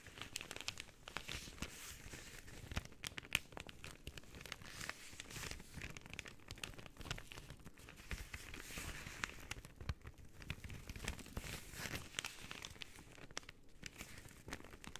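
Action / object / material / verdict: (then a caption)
scrape / paper bag / paper / none. An empty white paper bag, folded flat, is handled with fingertips and long painted nails, folded, crinkled and pressed flat between the hands. Soft, continuous crinkling and crackling with dense bursts of dry, papery rustle, bright and close, with no lingering ring.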